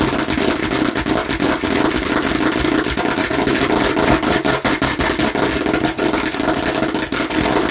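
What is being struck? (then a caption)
Plastic watermelon-slice bottle. A hollow plastic watermelon-slice bottle, held in both hands, is tapped and scratched rapidly with fingernails on its red front. The result is a dense, steady stream of quick clicky taps mixed with bright scratching, carrying a hollow mid-pitched tone with little low end and no pauses throughout.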